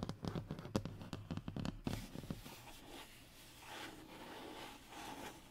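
Short fingernails scratch across a thin, solid, flat brown hardboard (fiberboard) panel resting on a wooden table. For about two seconds there is a quick burst of dry scraping strokes with a dull, low body, then it thins into softer, quieter rubbing that fades in and out.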